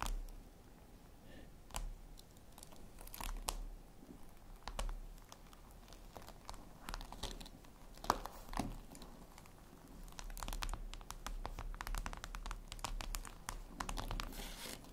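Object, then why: Glass tablet screen. Long red nails tap and scratch across a flat, glossy black reflective glass surface, likely a tablet screen. Many quiet, dry, bright clicks and short scratchy sweeps come in irregular bursts, each dying away almost at once over a faint low hum.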